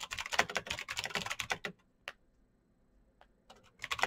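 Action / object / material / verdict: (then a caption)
tap / mechanical keyboard with plastic keycaps / plastic / none. Fast fingertip typing on a black Razer BlackWidow mechanical keyboard with plastic keycaps on clicky green switches produces rapid, bright clicky keystrokes. A dense burst of typing runs for about 1.7 seconds, then a near-silent pause holds only a couple of isolated clicks before typing resumes at the end.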